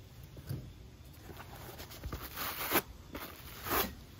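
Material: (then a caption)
Rubber. A rubber sneaker outsole with its foam midsole, held in hand, is scrubbed with a pale natural-bristle wooden brush. Four bright, scratchy brush strokes rise out of a soft, steady rustle, each dry and quickly ending.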